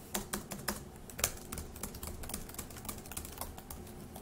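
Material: Plastic.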